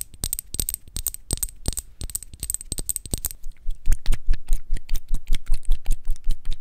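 Long acrylic nails tap and scratch a thin, flat orange paper card cutout of a MAC foundation dropper bottle held in both hands. The first half has quick bursts of crisp, bright clicky taps with a faint high whistle-like tone. The second half has louder, more evenly spaced dry taps with no ring.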